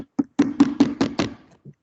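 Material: Plastic.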